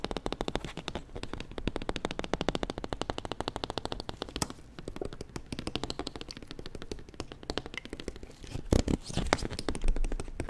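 A clear, thin, hollow plastic water bottle, held in both hands close to the microphone, is squeezed, crinkled and tapped with fingers and nails; its contents are not clearly visible. The result is a rapid, continuous stream of dry crackles and short clicks with a low, hollow body and very little ring. A few louder pops stand out near the end.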